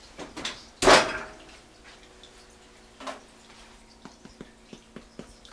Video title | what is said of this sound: Homemade Bread and PICKLED Eggs - Like peas and carrots | it has that good hollow sound